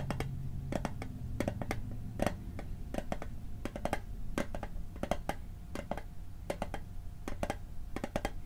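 Fingertips tap the lid and edge of a small, hollow, rectangular metal Altoids mint tin held in the hand. The quick, irregular taps are short, bright clicks with a faint metallic ring that dies away almost instantly, heard over a steady low hum.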